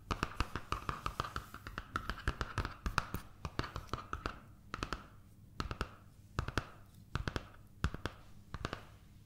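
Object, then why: Paper sketch pad. Long nails and fingertips tap and scratch the paper surface of a large sketch pad of paper sheets held upright in one hand. A fast, dense run of crisp clicks and papery scratching with soft low thumps slows after about four seconds into sparser, paired taps. Each tap is short and dry, with a mid-pitched papery tone.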